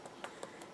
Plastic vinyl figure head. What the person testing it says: whenever you knock on these they should be Hollow but he's solid